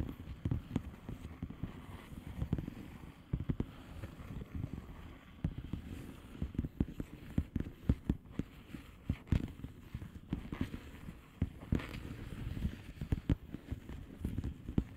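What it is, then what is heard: Plastic bubble wrap mailer. Long painted nails on both hands tap and scratch the bubbles of a blue plastic bubble wrap mailer lying flat. The result is a quiet, steady stream of short, dull, low tapping thuds with soft scratchy rustling between them and almost no bright content.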